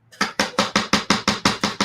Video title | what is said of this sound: LIVE How To: Airbrush + Summer Shimmer | if you are not hearing that baby then you're not um then you're not shaking it correctly